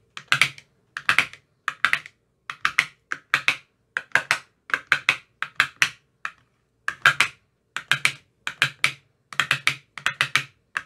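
A thin metal rod with a white rounded tip taps inside the hollow cells of an empty, translucent, frosted plastic ice cube tray with 15 compartments. It makes bright, dry, clicky taps, centered around 2.3 kHz, that die away almost instantly. The taps come in quick bursts of a few at a time, separated by short pauses.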